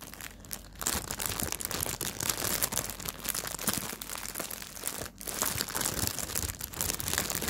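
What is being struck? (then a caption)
Thin clear plastic bag around a fabric pouch. Fingertips grip and crinkle a thin clear plastic bag wrapped around a small black fabric pouch, held close up. A dense, continuous bright crackle of plastic film runs throughout, briefly easing around the five-second mark before resuming.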